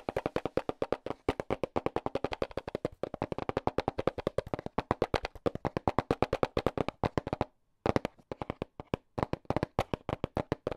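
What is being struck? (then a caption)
Small cardboard box tapped with battery tips. Fingertips fitted with AA battery tips rapidly tap the red side of a small, hollow cardboard product box. About 81 quick, dry, hollow knocks land in a fast, steady patter, centered in the low-mids with very short decay. The patter pauses briefly near the 7.5-second mark before resuming.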